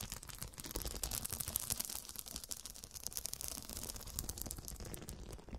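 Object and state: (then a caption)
Glass-studded cushion. Long dark nails tap and scratch across a fabric cushion covered in square faceted glass studs. A rapid, continuous run of bright, crisp clicks and raspy scraping fills the whole clip with no ringing, over a soft low thumping underneath.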